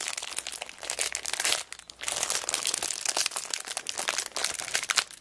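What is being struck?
Plastic-wrapped kraft paper notebook.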